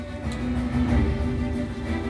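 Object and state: Nothing is struck.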